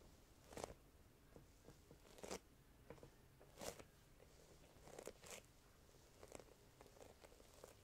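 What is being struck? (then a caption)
Embossed vinyl sheet. Hands with long painted nails press and lift fingertips and palms off a large flat blue embossed faux snakeskin vinyl (leatherette) sheet, with possible light tapping. Quiet sticky peeling crackles come in about ten short, sharp bursts that sweep bright, centered low in the midrange, over a soft hiss.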